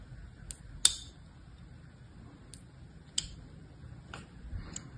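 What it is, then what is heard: Blue soap bar being scratched with a blade. A thin blade scratches and carves lines across the surface of a solid, palm-sized blue soap bar held in one hand. About four short, bright, crisp ticks and scrapes sound at irregular intervals, each dying away almost at once, over a quiet low hum.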